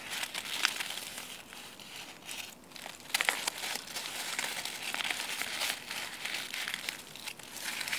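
Fingertips and nails crumple and rub a branch of dry, brittle brown chestnut leaves, producing a continuous bright crackling and crinkling rustle. Sharper snaps stand out near the start and around the three-second mark, with almost no low end beneath the dry, high-pitched texture.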